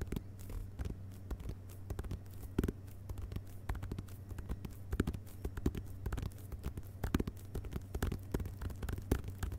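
Fingertips of both hands tap the glossy paper dust jacket of a medium, solid hardcover book, *Vagabonds!*, lying flat on carpet. Dense, irregular, soft, dull taps follow one another quickly, each dying out at once, over a steady low hum.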